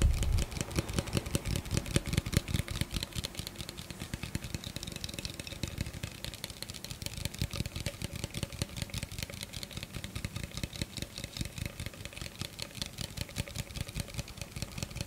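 Fingertips rapidly tap and scratch an empty, hollow clear plastic blender cup held beside the microphone. The result is a dense, fast stream of short, dry taps with a hollow low thump, layered with bright, scratchy clicks that continue steadily throughout.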